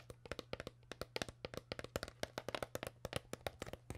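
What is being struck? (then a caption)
Crumpled plastic water bottle. Long nails tap rapidly on an empty, crushed and crumpled clear PET plastic water bottle, hollow and crinkled. About 27 quick, dry clicks sound in an uneven rhythm, each with a hollow knock around 600 Hz and a bright crackle. A steady low hum runs underneath.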